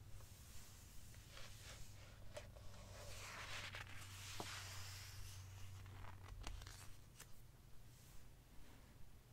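A fingertip points at and traces along the glossy paper pages of an open hardcover book, then the hand turns the pages. Quiet papery rustles and soft sweeping swishes are punctuated by brief sharp ticks, over a steady low hum.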